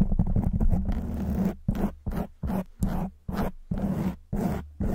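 Long white nails of both hands scratch a black foam windscreen on a silver microphone. The result is a dense, rumbling, bass-heavy scraping that turns into a quick flurry of strokes at first, then continues as short rough bursts separated by brief silences.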